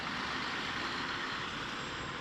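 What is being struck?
Nothing is struck.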